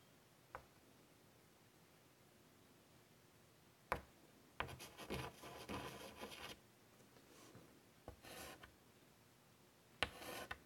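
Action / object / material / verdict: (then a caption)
scrape / chalk on a wood-framed chalkboard / chalk, slate / none. Fingers with pink nails draw on a large, flat painted chalkboard in a light wooden frame lying on a table, using a stick of white chalk. Brief sharp taps of chalk meeting the board are followed by bursts of dry, bright scratching and rubbing strokes, the longest running for about two seconds, with quiet pauses between.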